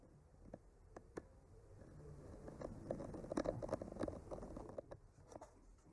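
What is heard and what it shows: A bamboo skewer tip with a clipped-on microphone, held by a hand with blue-painted nails, slowly traces over the painted branches of a flat, solid painted wooden art panel. Quiet, dry scratching and faint crackly ticks rise and fall as the tip moves, with short, dull taps that stop almost at once. The sound stays soft and muffled, with little brightness.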